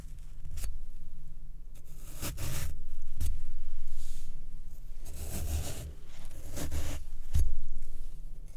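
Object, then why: Floral foam block. A white plastic fork pokes rows of holes into the left of two square blocks of soft, porous, soaked black floral foam on a wooden tray, while the other hand rests on the second block without striking it. Each poke gives a short, wet, crunchy tearing sound with a bright, gritty texture, arriving in uneven bursts over a faint low steady drone.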